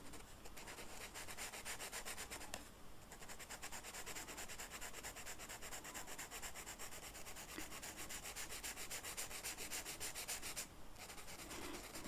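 A blue Sharpie marker, held in the fingers, colors a flat black velvet-flocked paper picture of flowers lying on a table, its felt tip rubbing and scratching across the flocked surface. The sound is a steady, continuous bright scratching made of rapid back-and-forth strokes. It pauses briefly twice.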